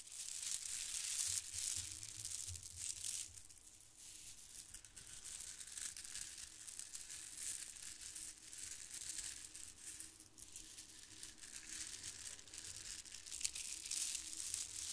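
Fingers rub and squeeze white plastic faux-pearl bead strands from a garland held close, then the strands are dangled and shaken. The beads make a dense, bright clicking and crinkling rattle with almost no low end, slightly louder at the start and end.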